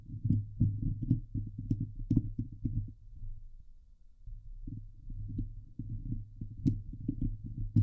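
Long glitter nails on both hands scratch the hollow steel mesh grille of a Blue Yeti microphone, producing a dense, low, thudding rasp of quick, dry strokes with an occasional bright click. The scratching eases into a quieter stretch midway, then resumes just as busy until the end.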